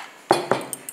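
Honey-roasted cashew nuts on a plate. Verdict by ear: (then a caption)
Crisp. Cooled honey-coated roasted cashews are moved around on a plate, giving four separate crisp clicks. The first two are louder with a bright, brittle attack and a short ring, and the last two are lighter, higher ticks. The cashews sound crispy and crunchy.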